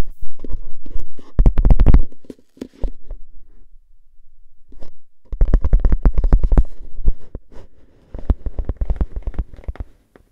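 Fingernails scratch and tap the metal top rim of a tall, hollow composite cardboard crisp can held in one hand. Quick clusters of dry, boomy taps and scratchy rasps come in bursts, with short quiet gaps between them. Each tap dies away almost at once.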